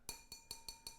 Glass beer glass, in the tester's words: that sounds like glass